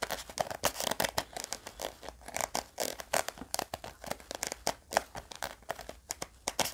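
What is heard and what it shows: Fingernails scratch and tap the edge of a small round pink hard-plastic gum tape case, producing a rapid, uneven stream of dry clicks and scratchy scrapes. The sounds are bright and short with almost no ring or low end, with a slight plastic tone around 680 Hz.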